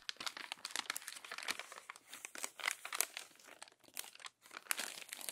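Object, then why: Glossy paper magazine pages. Crumpled pages of an open glossy paper magazine are smoothed and turned by hand. A dense run of bright, dry crinkles and crackles comes in quick irregular bursts with short pauses and almost no low end.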